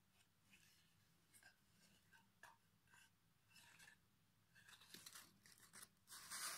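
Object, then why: Pine wood board. The edge of a solid pine plank, held across the lap, is rubbed with sandpaper held in the fingertips. Quiet, bright, scratchy rasps come in short uneven strokes, with little low end. The sanding grows into a louder, steady hiss at the end.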